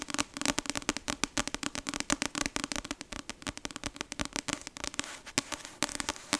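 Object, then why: Paperback book with card cover. Long acrylic nails keep tapping and scratching the glossy card front cover of the paperback novel "Icebreaker," which has a solid paper block. The result is a fast, dense run of sharp, bright clicks with no ring, interspersed with scratchy rasps, all over a faint low tone near 270 Hz.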